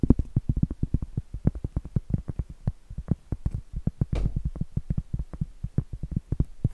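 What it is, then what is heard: Cork board. A large, solid round cork board held upright is tapped rapidly and scratched with long blue acrylic nails. Dull, low, short thuds follow one another in quick, uneven succession, and a brief, brighter scratch sounds about two-thirds of the way through.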